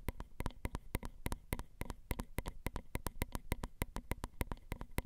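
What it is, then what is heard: Metal microphone capsules tapped with fingernails. Long acrylic nail tips tap and scratch along the grooves of the ridged metal X/Y microphone capsules on a Zoom recorder. The result is a quick, uneven run of dry, sharp clicks, about three per second, each with a heavy low thump and a bright tick that stops at once. Soft scratching fills the gaps between the taps.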